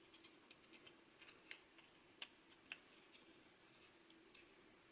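A small red translucent plastic MiniDisc with a metal shutter, hollow with the disc inside, is held in the fingers while fingertips and nails tap it and trace over its surface. Quiet, bright, short clicks come at an irregular pace, with three sharper taps standing out above a soft hiss.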